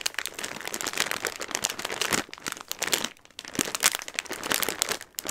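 A clear plastic bag full of dry Christmas pasta is held and squeezed in both hands, with long red nails and fingertips rubbing and crinkling the film. This produces a dense, bright, continuous crinkle with crisp rustling as the hard pasta pieces shift inside. There is a brief lull around the middle before the crinkling picks back up.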